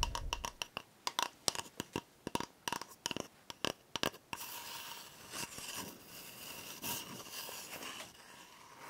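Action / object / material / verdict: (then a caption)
scrape / cardboard toilet paper tube / cardboard / none. An empty, hollow brown cardboard toilet paper core is held in the hands and tapped with long nails, making a run of sharp, dry, clicky taps for about four seconds. The nails then scratch steadily along the tube, producing a continuous bright, rasping scrape until the end.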